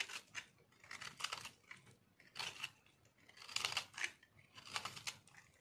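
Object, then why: Soap bar scraped with a metal knife. A palm-sized solid pink speckled dry soap bar, held in one hand, is scraped with a metal knife, shaving off crunchy flakes. Bursts of dry, bright scratching and crackling come in uneven clusters with quiet gaps between them, with almost no low end.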